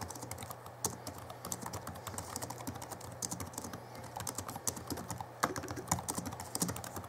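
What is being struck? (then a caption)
Plastic laptop keyboard. Fingertips of both hands type steadily on the backlit plastic keys of a small Alienware M11x R2 (2011) laptop keyboard. The result is a rapid, continuous run of short, dry clicks and clacks with bright, high-edged attacks, a light low thump under the keystrokes, and a few louder key strikes standing out.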